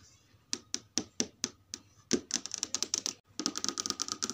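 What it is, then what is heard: TV screen tapped with nails. Long red nails and fingertips tap and trace across the smooth plastic/glass panel of a large flat LED TV screen showing a menu page. Seven spaced, bright, clicky taps come first, then a quicker run of dry clicks, all short and high with almost no low end.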